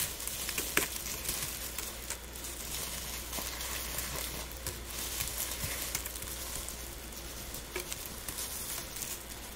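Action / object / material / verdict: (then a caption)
scrape / dried rose buds and petals / dried petals / none. Gloved hands rub handfuls of dried rose buds and petals together, making a soft, continuous light crackling with bright, dry rustle throughout. A few slightly sharper crackles stand out over a steady low hum underneath.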